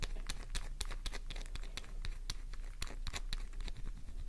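Long painted nails scratch and tap quickly on a solid pink flower-shaped bar of soap, making a rapid run of crisp, bright scraping clicks over a steady low hum. The sharp strokes stop almost instantly, with no ring after each one.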